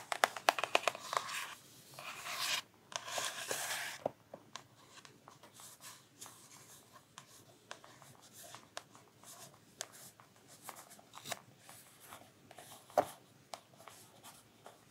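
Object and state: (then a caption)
Paper page of a large hardcover book. Long nails and fingertips scratch and rub across the Black Pearl page of a large illustrated Pirates of the Caribbean hardcover book, held upright and open on its thick stack of printed paper pages. Dense bright scratching bursts fill the first few seconds. Quieter, scattered sharp nail clicks and soft rubs follow.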